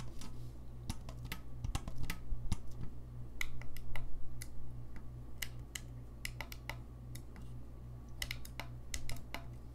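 Fingertips tap and click the keys of a gold-lacquered brass saxophone held upright, making quick, dry, irregular clicks with bright edges. The clicks die away almost instantly over a steady low hum.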